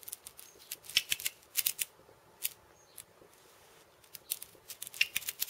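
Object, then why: Cabasa with steel bead chains on a wooden cylinder. Purple fingernails tap and scratch the steel ball chains and wooden rim of a steel bead cabasa, a hollow wooden cylinder wrapped in steel ball chains. About sixteen short, bright, dry metallic clicks and rattles arrive in irregular bursts, with a quieter stretch in the middle and almost no low end.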